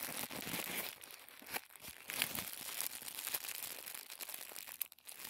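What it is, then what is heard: Tissue paper being crinkled. Fingertips crinkle and unfold a small folded packet of thin white tissue paper, making a dense, bright, papery rustle with quick crackles and occasional sharper snaps. The sound stays light and high, with almost no low end.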